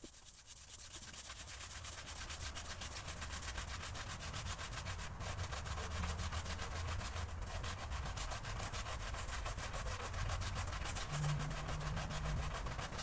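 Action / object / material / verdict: scrape / woven fabric rug scrubbed with a stiff-bristled broom / fabric / none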